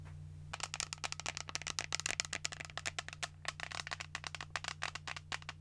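A pink translucent plastic shaker cup with a flip lid, hollow and apparently empty, is held in the hand and tapped and scratched with long nails. After a brief quiet start, a rapid run of sharp, bright clicking taps with dry scratches follows, each dying away almost instantly. A steady low hum sits underneath throughout.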